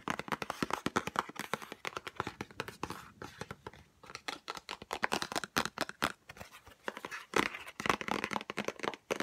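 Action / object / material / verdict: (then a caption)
tap / small cardboard box / cardboard / none. A small white Chanel No5 cardboard perfume box is tapped quickly with long nails while being turned in the hands. The result is a dense run of sharp, dry, bright clicks in uneven bursts, with some light scraping and crinkling between them.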